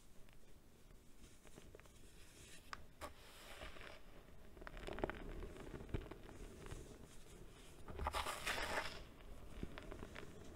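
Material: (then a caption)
Baking soda. Bare hands with long dark nails scoop, press and squeeze handfuls of loose white baking soda powder with some clumps in a large bowl full of it. The result is a quiet, soft crunchy squish and rub, with brighter, louder crunching bursts around three to four seconds and again around eight to nine seconds.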